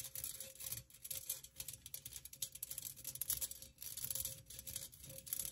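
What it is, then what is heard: Perforated metal pencil cup. Long nails tap and scratch the sides of a hollow, empty, hand-sized pink perforated metal pencil cup with floral cutouts. The result is a quiet, bright, rapid run of scratchy, rattling clicks that die away almost instantly, over a faint steady tone around 550 Hz.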